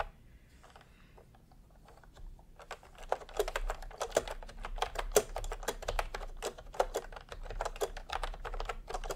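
A full-size pastel plastic retro keyboard with round plastic typewriter-style keycaps, resting on white fabric, is typed on with the bare fingertips of both hands. After a quiet start, fast repeated key presses build from about two and a half seconds on into a steady stream of short, sharp plastic clicks with a mid-pitched tone and little ring.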